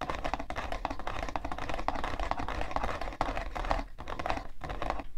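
Long nails scratch and tap fast on the side panel of a hollow, printed cardboard tissue box. The result is a dense, continuous stream of quick, dry clicks and scratches with a hollow, low-heavy body, a midrange tone near 660 Hz, and very short decay.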